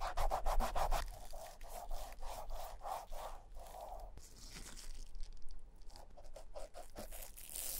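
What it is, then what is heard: Rubber shoe outsole being scrubbed. A cotton ball held in forceps, then a thin plastic stick, rubs and scratches the grooves around the embossed logo on the solid, molded beige rubber outsole of an old Clarks leather shoe. Quick, rhythmic back-and-forth strokes make soft, papery swishes centered around 750 Hz. They start brisk and dense, then ease into slower, lighter scraping with brief pauses.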